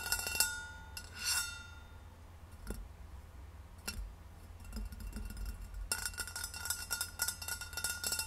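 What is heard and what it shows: Long red nails tap and rub the sides of a hollow, rose-gold stainless steel insulated bottle standing upright on a wooden table. Bright metallic clinks ring briefly around 1.4 kHz, with a few spaced taps and quieter rubbing at first. A dense burst of fast tapping follows near the end.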